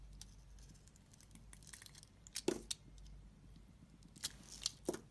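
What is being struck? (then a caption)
Bar soap with glitter coating. A utility blade scrapes and cuts a green glitter coating off a solid cream soap bar held in the palm, peeling it away in strips. Soft, crinkly scraping runs throughout over a low, quiet hum, broken by sharp, bright cutting snaps in two bursts near the middle and end. The snaps stop almost instantly with no ring.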